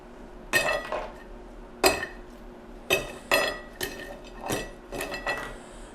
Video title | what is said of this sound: FOH - Volcanic Peppers Autumn Blaze Hot Sauce Review | You hear how crispy that is?